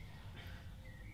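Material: Nothing is struck.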